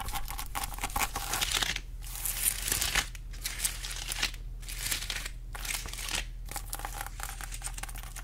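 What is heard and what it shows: A whole pineapple has its rind and crown scratched by long acrylic nails. Dense, bright scratching and crinkling comes in bursts, separated by brief quiet gaps, over a steady low hum.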